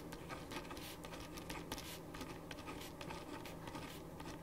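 A black ballpoint pen writes on a printed paper sheet resting on a wooden desk, making a continuous scratching stroke. Soft, bright scratches and light patter come in quick, uneven bursts over a steady low hum at a quiet, fairly even level.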